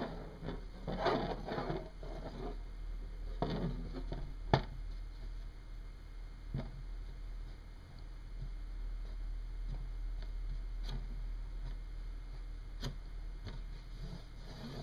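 A single small, solid, oval, dark metallic hematite sizzle magnet spins and wobbles on a wooden desk, with a hand resting nearby. It gives soft, low, woody ticks and brief taps against the wood, with a faint patter that thins out as it slows.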